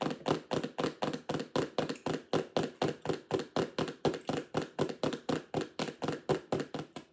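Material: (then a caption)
Plastic. A clear plastic lidded sensory bin box with toys inside is tapped and knocked with long acrylic nails. A steady run of quick, crisp plastic clicks follows at about four per second, each with a short hollow knock in the low-mid range that fades fast.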